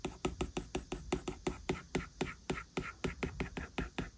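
A plastic Apple Pencil stylus taps and drags quick drawing strokes across the large flat glass touchscreen of an iPad lying on a desk, while the other hand's fingertips rest on the screen. About 21 short, dry clicks with brief scratchy drags follow in a steady, rapid rhythm, each with a faint low body around 370 Hz and a light bright edge.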